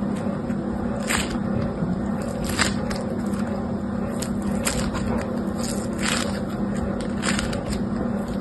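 A small lump of yellow-green foam bead slime (floam), held in one hand, is squeezed and rolled by the fingers and a thumb nail. Bright, crisp crackles and pops of the beads burst out at irregular moments. They sit over a steady low hum and a dense, gritty squishing that carries on throughout.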